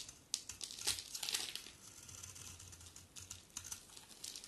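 A utility knife blade scrapes and shaves a solid rectangular pink-brown bar of soap with a dark outer layer, curling off pink shavings. Quiet, bright, dry scraping and crisp crinkly ticks come in a quick, uneven run of short strokes with almost no low end.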